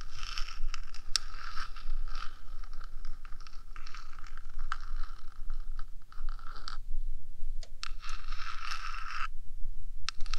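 Long nails scratch and tap the top surface of the small, hollow, rectangular metal box body of a 3Dio binaural microphone. Bright, hissy scraping comes in bursts with brief pauses and a few sharp ticks, over a steady low rumble.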